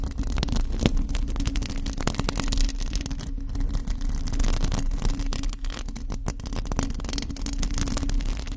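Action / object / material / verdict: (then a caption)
scrape / metal mesh microphone grille / metal mesh / none. A bare, hollow black metal mesh microphone grille is scratched and tapped with the long acrylic nails of both hands. The result is a continuous, dense stream of rapid scratchy taps over a strong low rumble, with a steady hum near 220 Hz.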